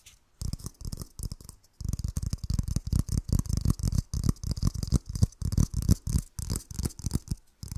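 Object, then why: Whole coconut with fibrous shell. Fingernails scratch and tap on a whole, fist-sized brown hairy coconut with a hard fibrous shell. The result is rapid bursts of dull, low thumping taps mixed with a faint bright scratchy rasp, with short pauses between the flurries.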